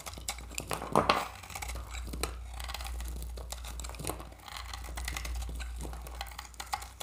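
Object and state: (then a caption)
Dry soap bar. A metal utility-knife blade scrapes shavings off a solid oval bar of dry, varnished orange soap held in the hand. Dense, crisp scraping and crackling ticks run throughout over a steady low hum, with a louder burst of scraping near the start.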